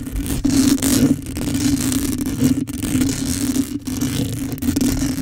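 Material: Metal mesh.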